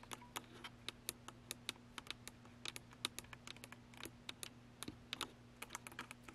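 Long pointed nails tap the top plate and around the lens barrel of a Canon DSLR camera with a hollow plastic body, mounted on a tripod. About thirty quick, dry, bright clicks come in an uneven patter, each dying away almost instantly, over a faint steady low hum.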